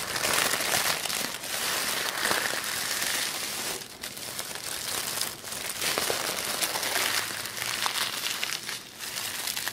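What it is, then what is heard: Crumpled tissue paper. Fingers handle and rustle a crumpled sheet of black tissue paper on a wooden table. A steady, dense crinkling hiss, bright and airy with almost no low end, swells and dips as the paper is squeezed and shifted.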